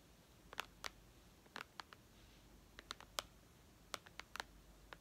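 Long red almond-shaped nails tap and click on the black glass screen of a white iPad lying flat on a lace tablecloth, its thin solid slab giving back about a dozen short, dry clicks. Each tap is a sharp, bright tick that stops almost instantly with no ring, spaced irregularly and sometimes in quick pairs over a faint, steady background hush.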